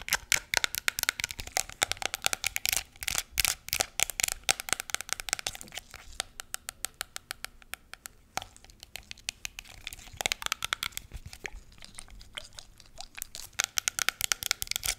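Long nails tap rapidly on a small pink plastic hand sanitizer bottle with a black flip cap, full of gel. Dense runs of crisp, bright clicks with almost no ring thin to sparser taps in the middle, then pick up again toward the end.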